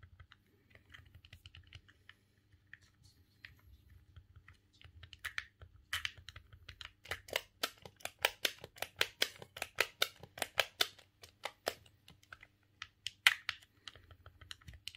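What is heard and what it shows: A thumb presses the face buttons and works the C-stick on a silver hollow plastic GameCube controller. Sparse light clicks build into a busy run of sharp, bright plastic taps and clacks with a faint low hum underneath.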